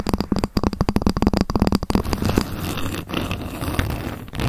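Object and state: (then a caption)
Ruler tapped with fingernails. A ruler is tapped rapidly with long fingernails, making a quick run of short, dull knocks with a low tone for about two seconds. The tapping then gives way to a softer, continuous scratching and rustling across the ruler until the end.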